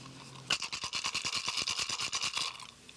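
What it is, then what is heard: Turtle shell rattle with the right amount of pebbles. A turtle shell rattle filled with added small pebbles is shaken with the shell's opening held closed, giving a quick run of bright, dry rattling clicks for about two seconds before it fades. The rattle is judged to have the right sound before the opening is wired shut.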